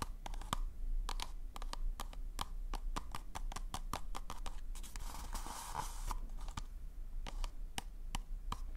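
Fingernails tap and scratch along a hollow, glossy pink polka-dot paper cone party hat held close to the mic. Sharp, dry clicks fall in quick irregular runs, and a papery scraping rush swells midway. A faint hollow ring sits around 1.2 kHz over a steady low rumble.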